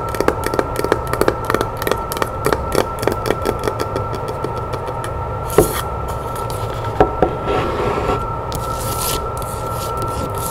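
Long nails tap quickly on the top and sides of a log-section wooden box resting on a table, giving a fast run of short, dry knocks for the first few seconds. Sparser taps follow, then soft scratching rasps over a faint steady tone.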